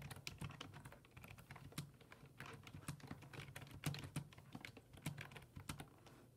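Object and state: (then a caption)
Plastic computer keyboard being typed on. Fingertips type rapidly on a black plastic full-size desktop keyboard with low-profile keys resting on a wooden desk. A steady stream of quick, short clicks and taps is heard, each with a soft low thud and a bright tick that fades almost at once.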